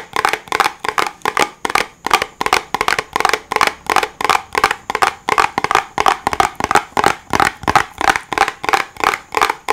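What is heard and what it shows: A small, hollow white cardboard box is held in both hands and tapped and scratched with fingertips and nails. About 36 quick, dry, papery taps and scratchy strokes follow one another at an uneven rhythm, each dying away almost at once. The sound centers around 770 Hz with a bright, crackly edge and almost no low end.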